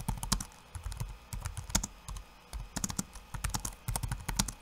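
Fingertips of one hand type quickly on a backlit laptop keyboard with plastic keycaps. The result is fast, light plastic clicks with dull low thumps and a bright click edge, coming in short bursts separated by brief pauses.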